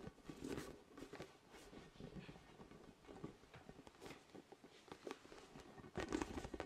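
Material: Vinyl.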